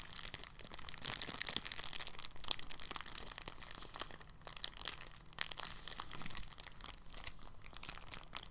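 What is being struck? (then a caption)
Thin polyethylene bag. A thin, clear, empty polyethylene bag is handled and folded by fingertips. It makes a quiet, steady stream of soft, bright crinkles and crackles, with one sharper snap near the middle, over a faint low hum.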